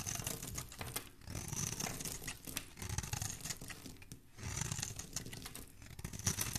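A hand-held, hand-sized solid bar of soap, white outside with a pink core, is scraped and shaved with a metal knife blade, and flakes and curls come away. Close, dry scratching and rasping comes in continuous bursts with brief pauses. The sound carries a soft low rumble and bright, crisp high detail.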